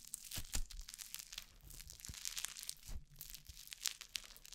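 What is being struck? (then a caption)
Slime packed with foam beads. A soft handful of orange crunchy foam-bead slime (floam), held close to the microphone, is stretched, squeezed and pressed between fingertips with long painted nails, kneaded rather than tapped. The sound is a dense, continuous run of bright crackling pops and crunches over soft, low squishing thuds.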